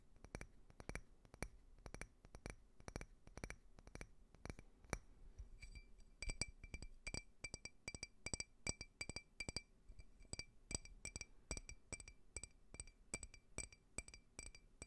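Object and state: Glass tumbler tapped.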